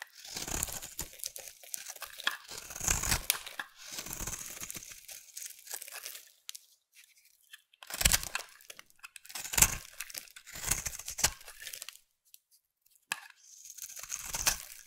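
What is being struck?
Solid bar soap scraped with a knife blade.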